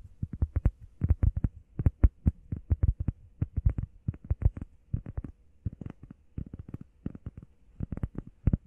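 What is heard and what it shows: Long painted nails and fingertips tap fast on a solid, hand-sized, flat grey textured EVA foam workout pad shaped like a heart. The result is quick, irregular bursts of soft, dull, low thuds that stop almost instantly, with only a faint brighter click on some taps.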